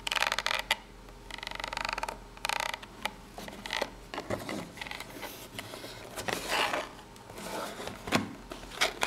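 A single long nail scratches along the ridges of a small corrugated cardboard box laid down, producing dry, raspy scraping bursts that are bright in tone and die away almost instantly. The strokes come in irregular clusters with quiet gaps between them, and there is a brief rustle as the camera moves.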